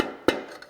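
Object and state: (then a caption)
Transmission clutch piston not yet fully seated. A long pry bar taps a 350 transmission clutch piston down into its aluminum case, working slowly and back and forth. Two short, hollow mid-pitched knocks are heard, the first sharp and the second softer, each dying away quickly. The piston is not yet fully seated in the case.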